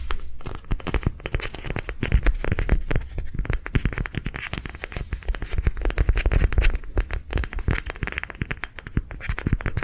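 A palm-sized, hollow, lime green ridged soft rubber sensory ball is held in the hands and tapped and scratched along its ridges with long nails. The result is a rapid, continuous stream of dull, low thuds mixed with dry scratching that dies away almost instantly after each stroke.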